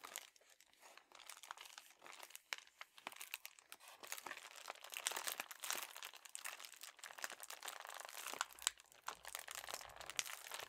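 A red metallic foil padded bubble mailer, soft and flat, is crumpled, squeezed and crinkled between the fingertips and thumbs of both hands. Dense, bright crinkling and crackling fills the clip with many quick, sharp bursts and almost no low end.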